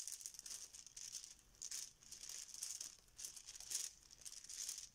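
A yellow fabric Bananagrams banana pouch holding plastic tiles is squeezed and shaken by hand, and the tiles rattle inside. The sound is quiet, bright, crinkly rattling in uneven bursts, with almost nothing in the low end.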